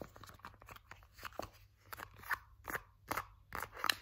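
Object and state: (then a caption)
Soft plastic hand cream tube. A partly full, purple, soft plastic 100 ml Nivea hand cream tube is squeezed, crinkled and scratched with fingers and nails. It makes short, dry, crackly bursts of crinkling and scraping that get louder toward the end, over a faint low hum.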